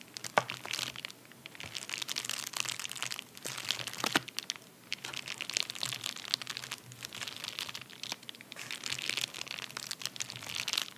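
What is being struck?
Padded paper mailer.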